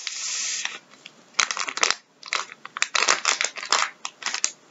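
A filled blue plastic-film Andrex tissue packet resting on a wooden table is pressed, crinkled and squeezed with gloved fingertips, then lifted and squeezed in both hands. A steady bright crinkle gives way to bursts of sharp, crackling plastic rustles separated by brief near-silent pauses.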